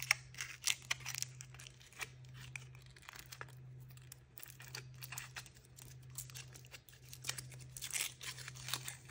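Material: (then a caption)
Aluminium foil. Fingertips with painted nails peel, tear and crinkle thin printed aluminium foil off a hand-sized solid chocolate egg held in both hands. Quick, bright crinkling and tearing bursts come and go over a steady low hum.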